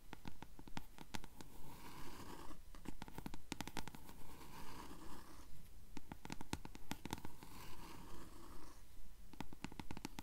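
Long nails scratch the yellowed page edges of a closed blue paperback book held upright. The result is a steady, fairly regular run of dry, raspy scratching strokes with crisp clicks and a soft low rumble underneath.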